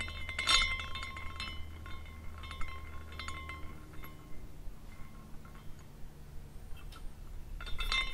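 A small glass carousel figurine is spun by fingers at the top, and its glass horses clink against each other. Bright, chime-like tinkles ring out around 2 kHz, fading quickly over a steady low hum, with the loudest clinks near the start and the end.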